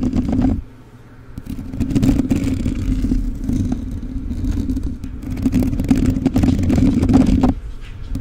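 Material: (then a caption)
Metal mesh. Fingertips and nails of both hands scratch the bare black metal mesh grille of a rhinestone-covered USB microphone with a hollow capsule head. The result is a dense, uneven rustling and scraping with heavy low rumble and a steady tone near 260 Hz. There is a brief quieter dip around the first second before the scratching swells back.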